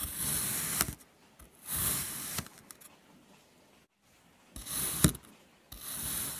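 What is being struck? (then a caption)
Kinetic sand block sliced by a metal knife. A metal knife slices lengthwise and crosswise through a solid, flat red kinetic sand mango shape scored into a grid. Four gritty, hissy scraping strokes are heard, separated by quiet pauses. Several strokes end in a sharp click as the blade meets the surface below.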